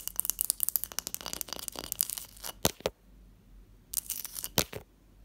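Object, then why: Block of ice. Long patterned nails and fingertips tap and scratch the top surface of a large, solid, clear ice block resting on a teal cloth. A dense run of bright, crisp clicks and scratches fills the first two and a half seconds, followed by a few sharp taps, a quiet pause, and another short burst of clicky tapping.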